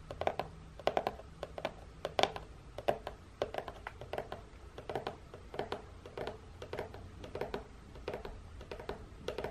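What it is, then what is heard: Cardboard biscuit box. Long nails tap and scratch the end flap and side of a long, hollow, printed cardboard biscuit box. A steady run of quick, dry taps with a hollow mid-range knock, around 780 Hz, comes through, each dying away almost at once, with faint scratchy rustling between them.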